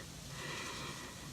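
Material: Nothing is struck.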